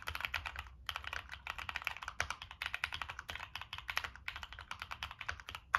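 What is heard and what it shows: Fingertips type on a Monsgeek M1 mechanical keyboard with NK Cream switches, a dark metal case and purple and black plastic keycaps. A steady run of quick, crisp clacks comes in short bursts with brief pauses; each keystroke is bright and dies away almost at once over a faint low background hum.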